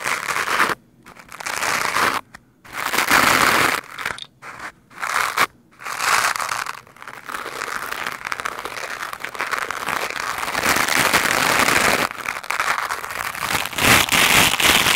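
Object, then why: Foam microphone windscreen brushed with a plastic brush. A lime-green plastic scrub brush is rubbed quickly over a black foam microphone windscreen, making dense, bright, crackly scratching with little low end. Short bursts broken by brief silences in the first six seconds give way to a steady, continuous brushing that grows slightly louder toward the end.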